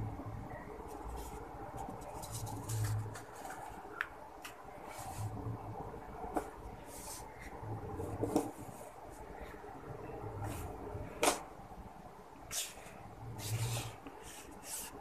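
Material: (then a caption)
Soil. Hands press and rub dry, fine red soil with small clumps in a yellow plastic bowl, fingertips digging in to crumble it and smoothing it across the surface. The result is a soft, low rustling with scattered bright, crisp crackles and occasional sharper taps.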